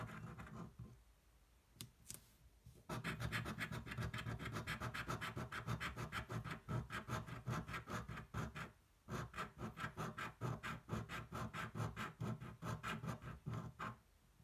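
A coin is picked up, then scraped back and forth across a thin paper scratch-off lottery ticket on a table to remove its coating. The result is a rapid, steady run of dry, rasping strokes with a brief pause partway through.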